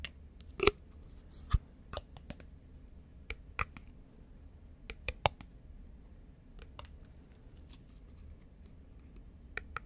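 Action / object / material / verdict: tap / thin plastic lid / plastic / none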